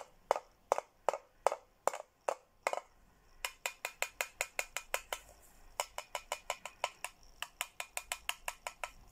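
A red plastic straw taps the inside of a hollow teal plastic Hello Kitty tumbler 36 times in quick, dry clicks with almost no ring. The first few taps are slower and spaced apart, with a hollow tone near 555 Hz. The rest come in faster, brighter runs.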